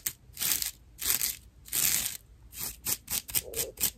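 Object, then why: Natural loofah sponge scratched with fingernails. A dry natural loofah slab with loose fibers at its edges is scratched with long nail tips. Rough, bright, airy scratching strokes come in irregular bursts: several longer drawn-out scrapes first, then quicker, shorter scratches toward the end.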